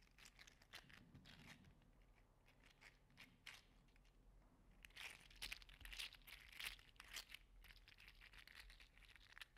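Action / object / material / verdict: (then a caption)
scrape / segmented 3D printed plastic slug toy / plastic / none. A small red-orange 3D printed plastic segmented slug toy is bent and curled in the fingers, its plastic segments clacking and rubbing together. Quiet, irregular dry clicks and crinkly rustles fill the clip and grow denser and louder in the second half, with bright, sharp transients and almost no ring.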